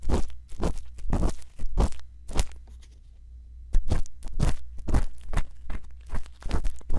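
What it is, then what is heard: Silicone ear microphone scratched with an earpick. A thin bamboo earpick scratches inside the ear canal of a white silicone ear microphone, making close, crunchy scraping bursts over a steady low hum. The scratching pauses into near silence for about a second before resuming in quick, crackling strokes.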